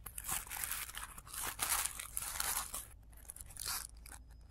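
Both hands crumple and rub the petals of a blue tissue paper flower with their fingertips, with the sound played in reverse. Dense, bright crinkling and crunching rises and falls in several long bursts, then thins out into softer rustles with one brief swell near the end.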